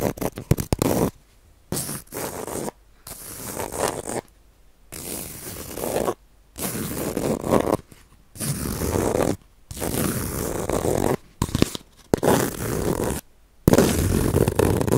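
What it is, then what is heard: Bamboo-sheath baren scratched. Fingernails scratch across the ribbed bamboo-sheath surface of a palm-sized round baren, a woodblock printing pad. The result is bursts of dry, rasping scrapes, much like a zipper, broken by short silences. A few quick ticks open the clip before the longer strokes begin.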